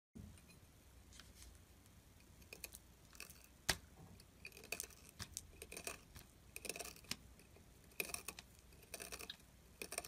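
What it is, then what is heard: Glycerin soap bar being carved. A pointed metal carving tool scrapes and carves into the edge of a solid, translucent, palm-sized orange glycerin soap bar held in the fingers, cutting off shavings. The sound is a quiet run of crisp, bright scratches and short rasping strokes. A faint low hum sits underneath throughout.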